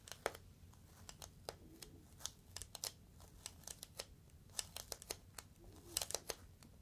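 A clear, inflated plastic air-column cushion is squeezed and crinkled with the fingertips. It gives an irregular run of sharp, bright crackles and snaps that die away almost instantly, over a quiet low rumble.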